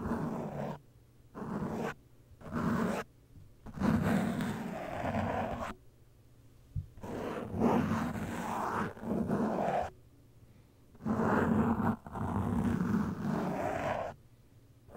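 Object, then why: Foam microphone windscreen. A cotton swab held in the fingertips brushes and scratches across the soft, porous black foam windscreen of a studio microphone. Irregular bursts of dull, muffled rubbing and low, rumbling scratching come close to the mic, separated by short quiet gaps. There is almost no bright high end.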